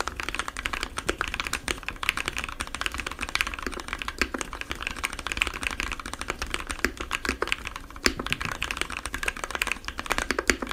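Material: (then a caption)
Plastic. Fingertips of both hands type rapidly on a compact 60% mechanical keyboard with white, blue and yellow plastic keycaps, lubed Gateron switches and foam inside the case. A dense, steady stream of short, crisp keystrokes clatters on with a bright edge and almost no ring after each press.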